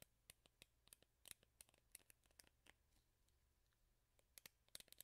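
Long fingernails scratch along the black rubber cushion pad and bristles of a handheld hairbrush with a teal plastic handle, held close to the mic. Quiet, bright, crisp ticking and scratching clicks come in uneven bursts, with a softer lull in the middle before a final flurry.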